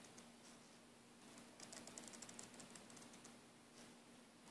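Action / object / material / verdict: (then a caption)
scrape / braided nylon air hose / nylon / none. Fingertips and nails rub and scratch along the braid of a green braided nylon air hose. Soft, bright rasping builds into a quick series of crisp scratchy ticks in the middle, then fades back to gentle rubbing, all very quiet over a faint steady low hum.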